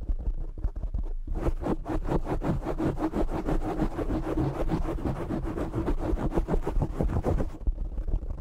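Fingernails of both hands scratch a black foam windscreen on a desktop microphone. A quick run of rough, rasping bursts lasts from about 1.3 to 7.5 seconds, with a heavy, boomy low rumble underneath. Quieter low handling noise is heard at the start and end.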